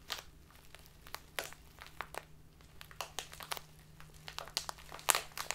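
A tall, narrow clear plastic bag full of loose tea, standing on a table, is squeezed and crinkled with fingertips and long nails. It gives a quiet run of sharp, bright crinkles and crunchy crackles with quick, dry snaps that stop without ringing. A faint steady low hum sits underneath.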